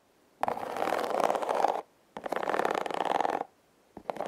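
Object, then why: Hollow corrugated cardboard box. Long red acrylic nails scratch across the ridges of a hollow, hand-sized, red heart-shaped corrugated cardboard box. Two long, steady rasping strokes with a dense ticking texture centered in the midrange are followed by a couple of brief scratches at the end.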